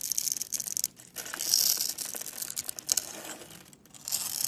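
A utility knife blade carves and scrapes a solid orange Camay soap bar held in the palm, cutting it into small curls and chips. The sound is a dense run of bright, crisp scraping and crinkly shaving noises with brief pauses between strokes and almost no low end.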